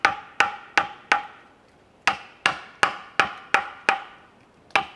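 A wooden mallet strikes a chisel into a large solid cedar log resting on a wooden sawhorse outdoors, carving a Buddha figure. Eleven sharp, hollow woody knocks with a chopping bite each ring briefly around 1.2 kHz and fade quickly. They come in an uneven rhythm, with a short pause after the first four.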